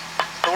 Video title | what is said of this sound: ഒരു കിടിലൻ സേഫ്റ്റി ഷൂ, വെറും 100 DHS safety shoe -workland shoe #reels #automobile #shoes #trending | ഇത് steel toy ആണ് കാരണം ഇത് തട്ടുമ്പോൾ